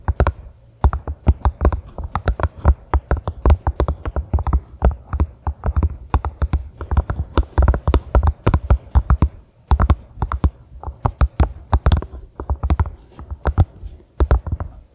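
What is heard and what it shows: A small pink silicone collapsible funnel, hollow and empty, stands upright on a grey carpet and is tapped and scratched with long manicured fingernails. It produces a steady stream of soft, dull, low thuds with short clicky tops that die away almost instantly, with faint scratching between them.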